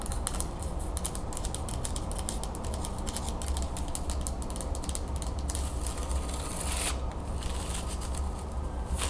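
Long nails and fingertips rub and scratch the thin wooden slats of a wooden folding fan as it is partly opened and folded. The result is a dense run of quick, dry clicks and scratchy ticks with bright edges over a steady low hum, at an even level throughout.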